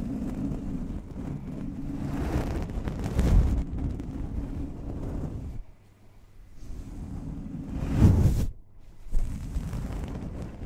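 The round metal mesh grille of a large desktop condenser microphone with a hollow head is slowly brushed and stroked by hand with the soft synthetic bristles of a makeup brush. A deep, muffled rustling and rumbling fills the clip, swelling in louder strokes and dropping briefly into near silence. It stays low and soft with no ringing metal tone.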